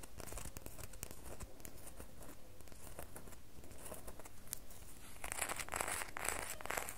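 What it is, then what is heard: Bar of soap scratched with fingernails. A solid red bar of soap is scratched and tapped with long fingernails, producing a steady run of dry, crinkly scratching and soft tapping. The sound grows brighter and more intense in the last two seconds.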